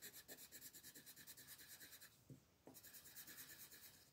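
A turquoise wooden colored pencil rubs over a thin white paper mandala sheet lying flat on a table in short shading strokes. The result is a steady, rhythmic run of bright, scratchy rasps with soft low taps. The strokes pause briefly around the middle, then resume at the same quick pace.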